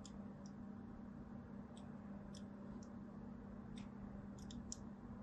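A thin blade scratches fine lines into a solid white Duru soap bar held in the palm. Short, bright, scratchy clicks come at an uneven pace over a quiet, steady low hum, each one dying away almost at once.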